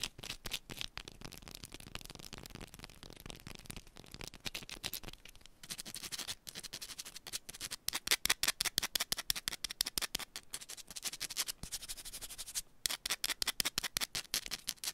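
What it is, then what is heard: Bar of soap. Long pointed nails on both hands scratch fast across the face of a small, solid yellow bar of soap, then one hand taps on it. The result is a dense stream of dry, bright scratching and crisp clicking ticks with almost no low end. The strokes grow louder and sharper from the middle of the clip onward.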